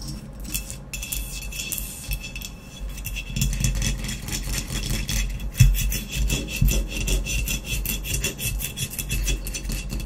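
Long nails scratch quickly across the blue speckled glaze and matte black body of a hollow ceramic vase lying on its side. A dense, rasping scrape with bright, hissing edges sits over a low, hollow rumble from the vase, and one sharper, louder stroke stands out near the middle.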